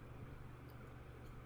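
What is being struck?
Nothing is struck.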